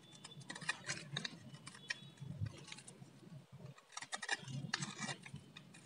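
A metal utility blade shaves and scrapes a palm-sized solid blue bar of dry soap into curls and strips. The result is a series of quick, crisp, bright scraping clicks and crackles over a soft low rumble, with a brief quiet gap partway through.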